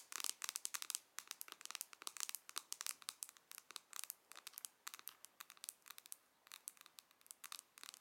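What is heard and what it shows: Long nails tap and scratch quickly across the lid of a closed, hollow pink pearlescent plastic eyeshadow palette. Dozens of soft, rapid clicks with a crinkly, bright, dry edge come in uneven bursts, leaving no low rumble and no ring after each tap.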